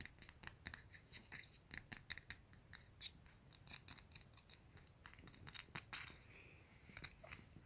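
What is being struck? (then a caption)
Glazed ceramic soap dispenser with dish. Fingertips and nails tap and scratch the glazed dish and ribbed ceramic base of a small, hollow ceramic soap dispenser with an attached dish, a dark glazed body and a metal pump on top. Dozens of quick, bright, dry clicks come with almost no low end and die away instantly, with a softer, continuous scratchy stretch near the end.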